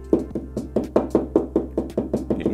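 Repeated knocking on a dot and dab plasterboard dry-lined wall around a single CoreFix fixing gives hollow, woody knocks with a short ring and a low pitch. The sound confirms the fixing sits in a hollow section of plasterboard rather than on an adhesive dab.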